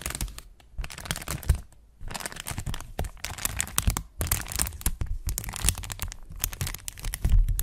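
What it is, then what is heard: Thin plastic sheet being crinkled. A thin, flexible, translucent brown plastic sheet or bag, held in both hands with medium-length purple-painted nails in front of a Zoom mic, is crinkled, bent and rubbed between the fingers. Dense bursts of sharp, crackling crinkles come in uneven waves, with short quieter gaps and a few louder snaps.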